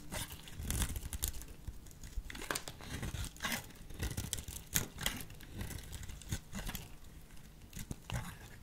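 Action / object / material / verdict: scrape / soap bar / soap / none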